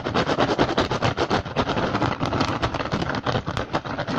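Both hands scratch the woven surface of a hollow rattan basket fast with fingertips and short nails. The result is a dense, rapid run of dry, crackly scratches with a bright, rustling texture and a steady level throughout.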